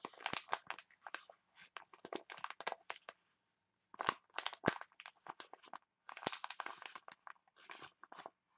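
A printed foil face mask sachet is crinkled and scratched with long nails. Clusters of sharp, bright crackling bursts come in quick runs, with a brief silence near the middle, and each one stops dead with no ring.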